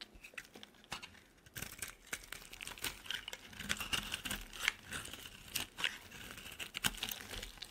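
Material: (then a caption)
Soap. A solid oval purple bar of soap is shaved along its edge with a utility knife blade, sending flakes falling. Dense, crisp scraping and crinkly cutting sounds with bright, high-heavy texture come in quick, closely spaced strokes that grow busier after the first second and a half.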